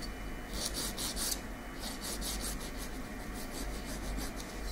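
A long natural fingernail is filed with a slim, light-coloured nail file held in the other hand. Repeated rasping strokes come through as bright, high bursts of scratchy noise over a steady low hum.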